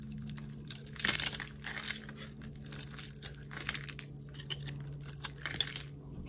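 A metal utility blade scrapes and cuts across the scored surface of a solid, palm-sized red oval soap bar. It makes a series of dry, bright, crisp scraping and crumbling strokes, sharpest around the first second, over a faint steady low hum.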